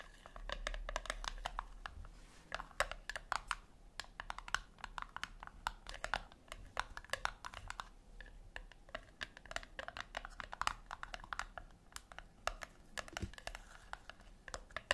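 Long acrylic nails tap and scratch the flat top of a small, round, brushed-silver metal tin resting on a white cloth on a wooden table. The result is a steady stream of quick, dry clicks and scrapes with a bright edge and almost no ring. Some taps come in rapid flurries over a faint low hum.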